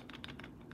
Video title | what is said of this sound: What I’m Buying Right Now In Coins - Coin Collecting Finance Sept. 2021 | you could shake the the holder in and the coin will rattle inside there and if you shake it enough it'll actually rotate the coin around